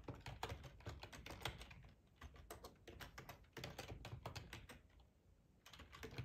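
Fingertips type on the keys of a black plastic, hollow-bodied split ergonomic computer keyboard, making rapid tapping. The quick, dry clicks carry a low thump beneath a bright top, with brief pauses near 2 and 5 seconds between bursts of typing.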